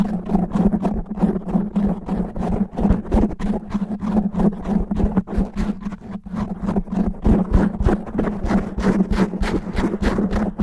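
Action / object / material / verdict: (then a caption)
scrape / foam microphone windscreen / foam / none. Fingernails grip and scratch a black foam microphone windscreen quickly and roughly, making dense, irregular bursts of rustling scratches at about three per second. The sound is close and muffled, heavy in low rumble with a steady hum underneath, and it runs continuously with no pauses.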